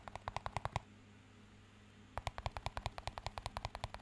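Fingertips tap and scratch a small, empty, clear plastic cup with a green band. A quick run of about eight sharp, hollow taps is followed by a soft, quiet stretch of faint hiss. A longer, steady series of dry clicking taps then fills the rest of the clip, each with a dull low thump and a brief bright tick that dies away at once.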